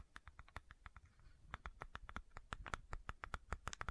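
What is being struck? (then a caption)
Plastic supplement bottle with cap. Long nails scratch and tap the cap and body of a medium white plastic fish oil supplement bottle with a label. The result is a quiet, irregular run of short, dry clicks and taps with brief scratching between them. The clicks ring around 1.3 kHz over a soft low thump.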